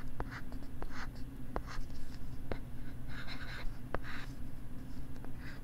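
A stylus writes and scratches across a pink plastic LCD writing tablet held close to the left ear of the microphone. Soft, dry scratchy strokes mix with sharp little taps over a steady low hum.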